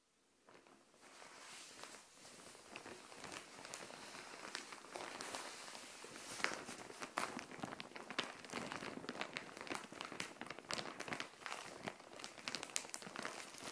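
Long painted nails and fingertips tap and scratch the surface of a flat, grey-white printed plastic Shein mailer bag, filled with folded green clothing and lying on a tile floor. Bright, crinkly plastic taps and scrapes start softly and build into a dense, steady stream of quick clicks and rustles, with almost no low end.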